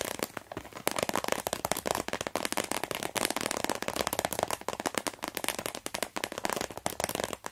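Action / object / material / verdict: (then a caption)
scrape / plastic pencil case / plastic / none. Fingertips and long nails squeeze, crinkle and tap a medium, hollow, translucent blue plastic pencil case with an orange zipper, then rest flat on it. A dense, steady stream of sharp plastic crackles and clicks fills the clip, bright and papery with little low end and very short decay.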